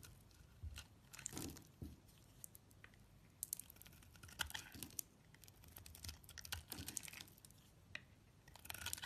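A utility knife blade slices into a solid greyish-purple bar of soap held in the hand, flaking pieces off. The result is a quiet series of crisp, bright scraping and crackling bursts with dry little clicks, each one stopping dead with no ring.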